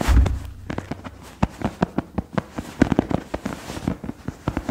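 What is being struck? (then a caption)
Stuffed fabric throw pillow. A large, soft, stuffed tan suede-like fabric cushion is held against the chest and quickly scratched and tapped with the fingertips and nails of both hands. A louder low, muffled rub at the start gives way to a rapid, uneven run of dull, soft thumps and short scratches. The sound is low and padded, with almost no bright edge.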